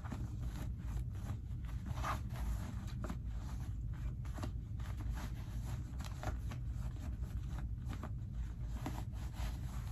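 Fingertips pull the pocket lining and rub the cotton denim of light-wash skinny jeans, making soft, scratchy fabric rustles and brief brighter swishes. A steady low rumble runs underneath the whole clip at an even, quiet level.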